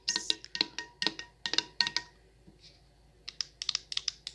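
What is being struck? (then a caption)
Glass candle jar with perforated metal lid. Long nails tap on a glass jar candle full of wax, first on its perforated metal lid and then on the glass side. About twenty bright, sharp clicks come out, the early ones carrying a faint ringing tone. A short quiet pause separates them from a later run of quicker, drier taps.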